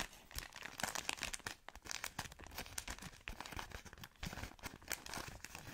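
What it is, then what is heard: Plastic-wrapped pack, crinkling. A long, soft product pack wrapped in thin plastic film is scratched and squeezed by long nails. Dense, bright crinkling and crackling with quick scratchy bursts fills the whole clip, running almost without pause.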